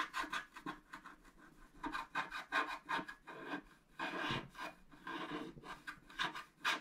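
A wooden stylus scratches hatching into a flat scratch-art card (black coating over colored foil) lying on a table, near the brush. It makes quick, dry, bright rasping strokes in uneven bursts with short pauses between them. The hand shifts position at the end.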